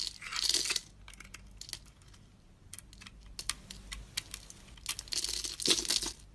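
A utility blade scrapes chunks and flakes off a solid bar of soap, red glitter on the outside and white inside, held in one hand. Bright, crisp crackling bursts of scraping open and close the clip, with quieter, irregular short scratches and ticks in between.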